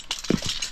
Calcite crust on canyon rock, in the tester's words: cette espèce de calcification ça sonne vraiment creux